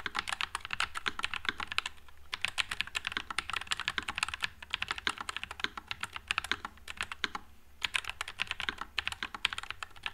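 Continuous fingertip typing on a white low-profile Nuphy Air96 mechanical keyboard with Wisteria switches and plastic keycaps. Rapid, bright, short clacks run in steady bursts, with brief pauses near 2, 4.6 and 7.5 seconds.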